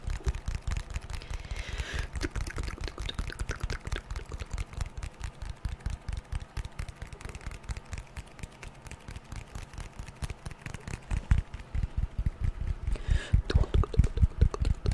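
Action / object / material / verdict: tap / smartphone with glass screen and aluminium frame / glass, aluminium / none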